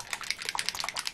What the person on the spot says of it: sounds like it's got a ball bearing in so it's shaking